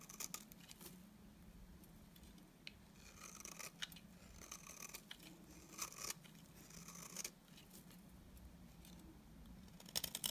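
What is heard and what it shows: A utility knife blade scrapes and shaves a solid, dry beige bar of soap. Crisp, bright scraping strokes come in bursts over a low steady background hum, with a few sharper cuts near the end.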